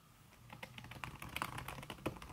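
Fingertips with long red nails type fast on a backlit laptop keyboard in a silver aluminum body, its keys covered by a thin red silicone skin. A quick, uneven run of soft, muffled taps and clicks plays over a steady low hum, with a few sharper, brighter nail clicks standing out.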